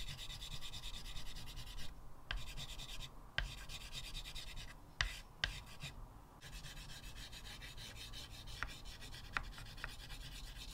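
Fingertips rub and scratch a white chalk stub in short repeated strokes across a flat blackboard set in a wooden frame. A steady, raspy scraping with bright hiss and a low rumble runs throughout, broken by a few brief pauses and occasional sharp taps as the chalk strikes the board.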